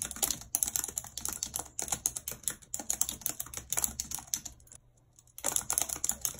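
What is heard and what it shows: Long red acrylic nails tap fast across the hollow plastic keys of a full-size white plastic computer keyboard with a numpad, resting on a map-printed surface. Bright, sharp clicks come in quick bursts with brief pauses, and a near-silent gap occurs just before the typing resumes.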